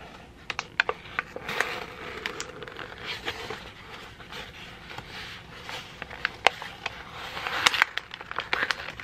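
A wrinkled sheet of white printer paper is gathered and crumpled in both hands, with fingertips squeezing it. A steady, bright crinkling rustle is broken by many sharp, dry crackles that stop instantly, with the densest bursts near the start and end.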